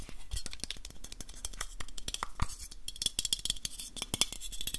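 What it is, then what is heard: Aluminium aerosol can. Fingertips and nails tap fast on a black, hand-sized aluminium aerosol spray can with a silver metal base, hollow and of unknown fullness. A rapid, uneven run of short, sharp ticks and clicks carries a bright metallic ping near 3.4 kHz, over soft low thumps. Each tap dies away almost at once.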